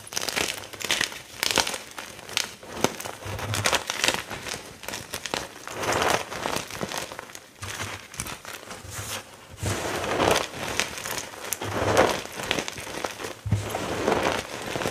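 Both hands squeeze, crunch and press chunks in a large heap of dry, crumbled white gym chalk (magnesium carbonate), with fingertips and painted nails pressing into the pile. Dense, crackly crunching and crinkling comes in overlapping bursts, with a bright, gritty texture and little low end. The sound swells and eases in waves across the whole clip.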